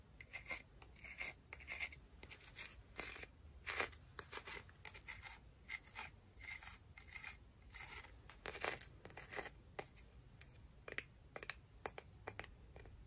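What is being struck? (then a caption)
Clam shell. A clam shell from the beach is tapped and scratched, giving a steady run of dry, bright clicks mixed with short raspy scrapes. The sound is quiet and mostly high-pitched, with each tap dying away at once and no ringing.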